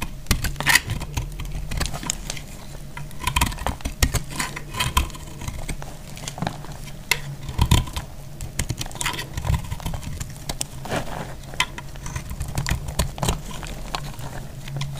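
A box-cutter blade cuts into a hand-held bar of dried white soap, chipping off brittle chunks. Dense, dry crunches and sharp, bright clicks with almost no ring sound throughout, over a steady low hum.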